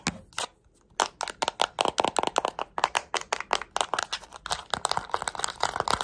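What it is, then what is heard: Plastic remote control. A small, flat plastic LED remote control with colored rubber buttons has its buttons pressed and its body tapped with long nails. A rapid series of sharp, dry clicks and taps follows a brief pause near the start, with bright crackly edges and almost no low end, growing denser toward the end.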